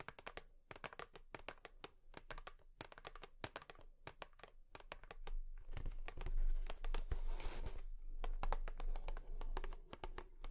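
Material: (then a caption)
Cardboard. Long nails tap a cardboard tissue box in a quick, uneven run of sharp, bright clicks over a steady low hum. About halfway through, the taps grow louder and denser, blending into a rougher scratchy, crinkly texture before settling back into separate clicks.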